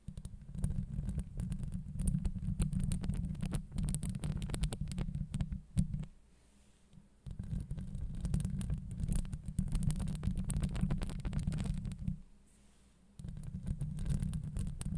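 Long acrylic nails rapidly scratch a hollow steel wire-mesh microphone grille up close, producing a dense, low, rumbling scrape with a faint high hiss. The scratching runs in continuous bursts, falls quiet briefly around 6 and 12 seconds, then resumes.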